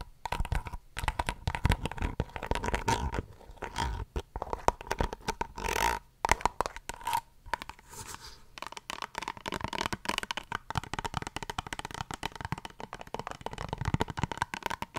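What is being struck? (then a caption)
Soft plastic squeeze tube. Long nails scratch and tap along the length of a soft plastic face wash squeeze tube held horizontally close to the microphone. The result is a dense stream of crackly, rustling scrapes broken by quick, dry taps that die away almost instantly.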